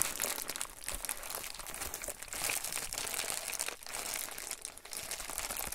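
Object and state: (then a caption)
Plastic bubble mailer being rubbed and crinkled. An Amazon Prime poly bubble mailer envelope lies flat on a table while fingertips and palms rub and scratch across its plastic bubble surface. The result is a steady, dense crinkling and scratching with a bright, hissy texture and brief dips between strokes.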